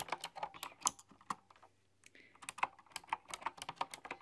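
Long dark-polished fingernails type on a full-size typewriter-style computer keyboard with hollow, round chrome-rimmed keycaps. Bright, sharp clicks and taps come in quick runs, with a short pause in the middle. Each key strike dies away almost instantly.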